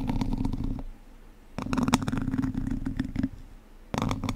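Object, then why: Wire-mesh microphone grille scratched with wooden sticks. Two wooden chopsticks scratch and tap across a hollow domed wire-mesh microphone grille in three bursts, separated by short quiet gaps. The scratching is close and boomy, with a steady hollow drone near 250 Hz under quick, dry clicks that die out almost instantly.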